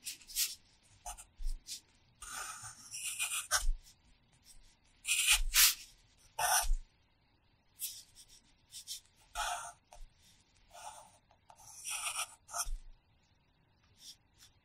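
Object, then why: Graphite pencil on a paper notebook page. A red wooden pencil, held in the fingers, scratches and rubs its graphite tip across the page of an open paper Hiragana practice notebook lying flat on a pad while writing characters. Short, bright, papery scratching strokes come in separate bursts with quiet pauses between them. A singing bowl sits silent nearby.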